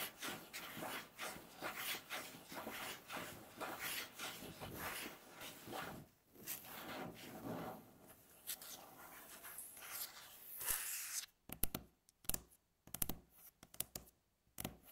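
Long natural fingernails tap and scratch a flat, solid, light-coloured wooden tabletop. About eleven seconds of steady, rasping scratching with rhythmic bright strokes gives way to sharp, separate taps with short dry decays and near-silent gaps between them.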